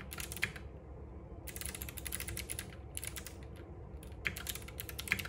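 Fingertips type continuously on a compact RGB-backlit mechanical keyboard with plastic keycaps and clicky switches, resting on a wooden desk. Bursts of quick, bright clicks run over a steady low hum, with short pauses between the bursts.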